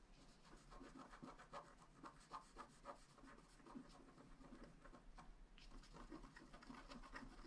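A wooden stylus scratches the coating of a flat black scratch art card (wax-coated paper) lying on a table. Quiet, continuous scratchy strokes rasp and rub in quick succession, with a brief lull a little past five seconds before the scratching resumes.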